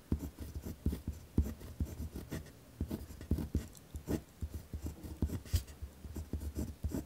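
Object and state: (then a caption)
Paper notebook sheet. A ballpoint pen writes with hard strokes on a torn-out notebook page held flat on a wooden desk. Quick, uneven scratching strokes come in a steady stream, each with a dull low thump from pressing the pen into the paper and brief bright scratches on top.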